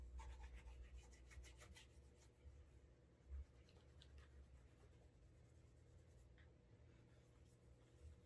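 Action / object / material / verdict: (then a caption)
scrape / leather dress shoe rubbed with cotton cloth / leather / none. A brown leather Alden Straight Tip Blucher dress shoe is held in hand while its toe and side are rubbed and buffed with a cotton cloth over the fingers to create a wax burnish. Quiet, quick, uneven rubbing strokes produce a soft, low, muffled swishing, with brief brighter scratchy swipes near the start and a slightly louder scuff around the middle.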